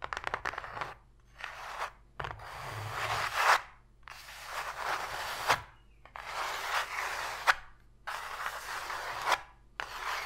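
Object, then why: Open cardboard box tray. Long pink nails scratch and rub across the floor of an empty, open white cardboard box tray, which sounds hollow. Long bursts of dry, bright rasping alternate with short pauses, with a few sharper scrapes along the way.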